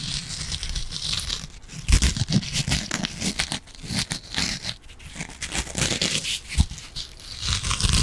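Long nails scratch the green abrasive scouring pad of a yellow and green foam kitchen sponge. The result is a steady, rough, crackling scrape with bright hiss on top and soft low thumps underneath, swelling and fading in uneven bursts.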